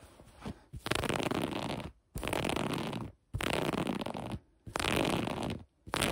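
Long acrylic nails scratch the gathered elastic waistband of light gray cotton sweatpants. Four long, rough scratching bursts of broadband fabric noise are separated by short near-silent gaps, and a fifth begins just as the clip ends.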